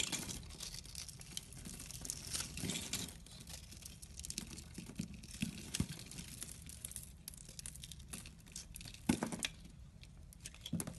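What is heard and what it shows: A metal craft blade scores and carves small cubes off a solid pink embossed soap bar held in the hand. There is steady, bright, dry scratching and crisp cutting throughout, with occasional sharper, louder crunches as pieces break away, especially toward the end.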